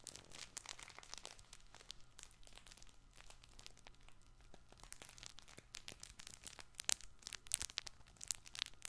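A soft, hand-sized, multicolored stuffed fabric baby ball with crinkly filling is squeezed and scratched with fingertips and short nails. It gives off dense, bright crinkling and crackling with many sharp, quick snaps over a faint steady low hum. The snaps grow louder and sharper toward the end.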